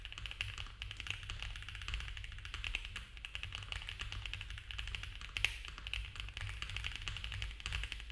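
Both hands type fast with their fingertips on a compact mechanical keyboard with cream ABS keycaps, a dark case, a polycarbonate plate and foam filling. The result is a dense, steady stream of short, sharp clacks with a bright tone around 2.6 kHz, and one louder keystroke near the middle. A constant low rumble sits underneath throughout.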